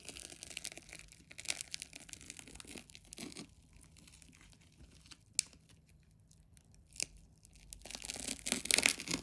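A metal craft knife is drawn through a large, solid ball made of many layers of colored plastic adhesive tape, held in one hand, as the blade scratches and slices into the tape. The sound is a bright, crinkly tearing and scraping in irregular bursts, with quieter stretches broken by a couple of sharp clicks. It grows louder and denser toward the end.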